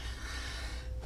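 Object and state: Nothing is struck.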